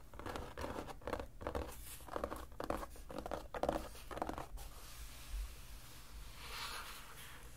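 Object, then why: Cloth-covered hardcover book. Fingertips rub and scratch across the cloth cover of a solid, closed dark blue hardcover junk journal lying on a cutting mat. A run of short, dry scratching strokes with a papery, mid-range texture comes first. These give way to softer, quieter rubbing with a faint bright hiss toward the end.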